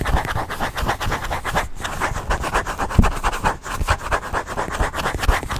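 Nails and fingertips scratch and rub a small black quilted leather handbag close to the microphone. A steady run of quick, rhythmic rasping strokes carries a soft midrange scratch over low, muffled thumps. A few stronger bumps stand out around the middle and end.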